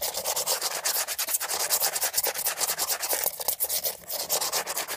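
Fingernails rub and scratch rapidly along the textured surface of a beige hollow plastic air freshener dispenser housing held upright. The result is a dense, continuous stream of quick, bright, hissy scraping strokes with almost no low end.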